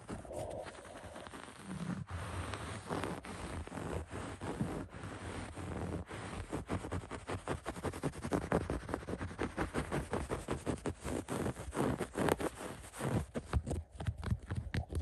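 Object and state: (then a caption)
Woven upholstery fabric being scratched. Fingertips scratch quickly across the beige, coarse woven upholstery on a recliner arm. The result is a dense run of rapid, dry, muffled scrapes with a low, rumbly weight and little high brightness. The scratches grow louder and more sharply separated after the first few seconds.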